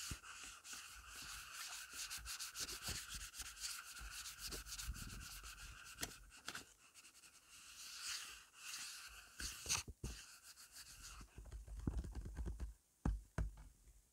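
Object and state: Paper being rubbed by fingertips.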